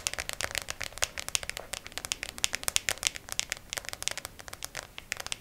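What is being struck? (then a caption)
Small clear plastic compartment box. A small, hollow, clear plastic compartment organizer case with press-on nails inside is held upright and tapped and scratched with long acrylic nails. The result is a fast, steady stream of dry, bright clicks and light scratches, each dying away almost instantly, with almost no low end.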